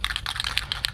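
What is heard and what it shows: A metal can of gloss white rust-stopping spray paint is shaken so its internal mixing ball rattles, giving about five quick, sharp, bright clicks over a faint low rumble. The ball rattling easily means the paint is mixed, and because it is cold, that takes at least two minutes of shaking.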